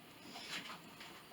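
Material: Nothing is struck.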